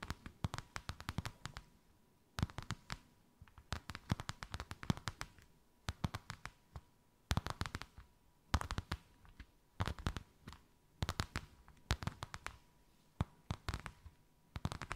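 Long white acrylic nails tap and scratch a thin white faux-leather sheet with a snakeskin emboss, draped over something rounded. Quick clusters of short, dry clicks and taps come in bursts separated by brief pauses, each tap dying away almost instantly. The sound is mostly low and dull, with crisp high edges and a faint steady tone underneath.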